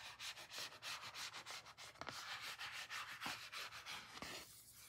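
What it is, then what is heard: Cardboard photo card. Fingertips and short nails rub and scratch the surface of a small, thin, solid, flat pink printed cardboard photo card held in the hand. Quick, uneven dry rasping strokes repeat about three times a second, with a bright, papery hiss. The scratching softens toward the end.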